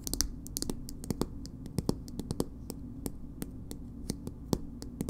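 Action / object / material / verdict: tap / small soft plastic cosmetic tube with plastic cap / plastic / none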